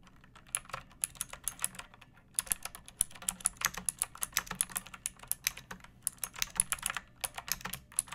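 Long painted nails and fingertips type on a pink plastic mechanical keyboard with round backlit keycaps and a hollow body, resting on a wooden surface. A steady run of quick, bright, clacky key clicks with very short decay briefly pauses around the two-second mark, then resumes at a busier pace.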